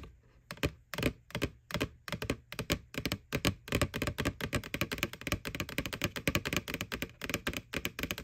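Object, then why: Small hollow plastic bucket. Long fingernails tap rapidly on the side wall near the rim of a small, hollow, white plastic McDonald's Boo Bucket ghost Halloween candy bucket, which is held tilted. The sharp, clicky taps start out spaced apart and then speed up into a dense, irregular patter. Each tap dies away almost instantly, leaving a light hollow plastic knock with a little low body.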